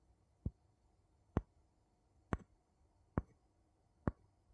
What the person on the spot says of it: 01:12 Two wooden spoons tapping